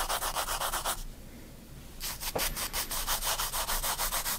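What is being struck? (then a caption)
Graphite pencil on a paper sketchbook page. A graphite pencil cross-hatches on the right side of a spiral-bound paper sketchbook page, making quick rhythmic scratchy rubbing strokes with a bright, papery hiss. The strokes run for about a second, pause briefly in near quiet, then resume at a steady pace until the end.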